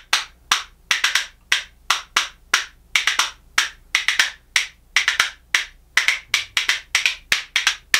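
A pair of light-coloured solid hinoki cypress wood percussion spoons, held in one hand, is knocked together against the palm in rhythm. About 32 bright, dry wooden clacks come in quick doubles and triples in an uneven pattern. Each dies away almost at once, with a hard, high click centred near 1.8 kHz.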